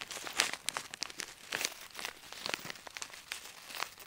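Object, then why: Plastic zip bag holding small metal beads. A small clear plastic zip bag partly full of small gold metal beads or charms is held in both hands and crinkled, squeezed and shaken by the fingertips so the beads move inside. The result is quiet, bright, crisp crinkling and rustling, broken by a rapid, irregular series of short, sharp clicks and crackles with almost no low end.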